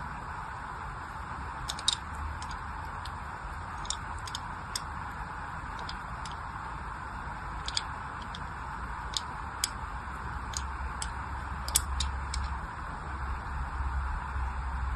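A small blade carves a crosshatch pattern into the surface of a solid orange glycerin soap bar held in the hand. Short, bright scraping clicks come in irregular bursts over a steady low hum and a mid-range hiss.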